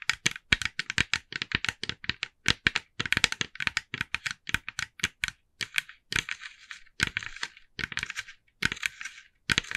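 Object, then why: Hollow plastic pumpkin figure tapped with fingernails. A hand-sized hollow orange plastic jack-o'-lantern with a carved face is held steady and tapped with the long nails of both hands. Rapid, bright, dry clicks come in quick clusters, turning into brushier, scratchier bursts in the second half.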